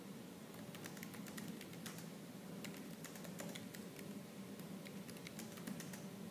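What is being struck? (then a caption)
Laptop keyboard with plastic keys. Fingertips with purple nails type continuously and quickly on a laptop keyboard with black plastic keys, producing a steady stream of sharp, bright clicks. A slight fan hiss and a low hum run underneath throughout.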